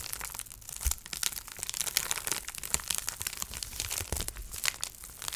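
A clear plastic bubble wrap sheet, thin, flexible and about hand-to-forearm size, is held up and crinkled and pressed by fingertips with long painted nails. The result is a steady stream of bright crinkling and sharp crackling snaps over dense high hiss, with occasional low thumps.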